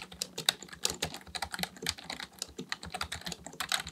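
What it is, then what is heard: Plastic membrane computer keyboard. Both hands' fingertips type continuously on a black plastic full-size Dell KB1421 membrane keyboard with a hollow housing, resting on a desk, pressing and tapping the keys. About 23 quick, dry, bright clacks follow in an uneven stream, each dying away almost at once, with a soft low thump beneath.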